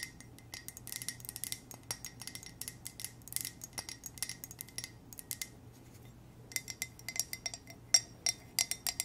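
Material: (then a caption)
Ceramic. Long nails tap and scratch a hollow, black glossy ceramic coffee mug with white text, making about 35 sharp, bright clicks with a faint high ring. The taps come quickly and irregularly over a faint low hum, each dying away almost at once.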